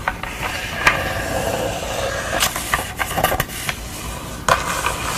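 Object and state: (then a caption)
Wooden canvas stretcher frame. Fingernails and fingertips scratch and rub along the wooden bars of a canvas stretcher frame on the back of a canvas. A steady dry rubbing hiss runs throughout, broken by sharp, bright scratchy clicks that stand out above it.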